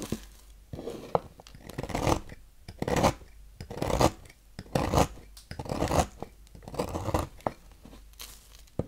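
A knife blade shaves curls off the grooved end of a solid yellow oval Noxes bar soap resting on a table. Dry, crinkly scraping and tearing strokes repeat roughly once per second, each a short broadband rasp with quiet pauses between.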